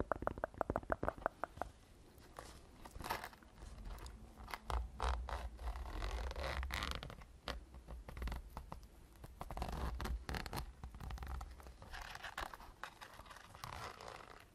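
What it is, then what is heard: Zippered hard-shell case, scratched and rubbed. Long nails scratch and rub the surface and zipper of a small black hollow zippered hard-shell case, covered in EVA/fabric, held close to the microphone. Quick clicking taps open the clip, then dry scraping and rustling follow with a low rumbling undertone. The sound stays soft and uneven throughout.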